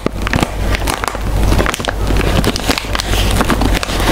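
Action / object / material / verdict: scrape / metallized plastic snack bag / plastic foil / none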